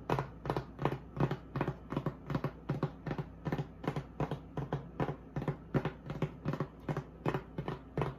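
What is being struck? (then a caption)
Polystyrene foam packaging block. Long acrylic nails tap and scratch the textured surface of a solid, flat white polystyrene foam block used as a styrofoam packaging insert. Short, dry taps with a soft thump and a faint bright scratchy edge repeat at a quick, slightly uneven pace of about two to three per second. Each tap dies away almost instantly over a low steady hum.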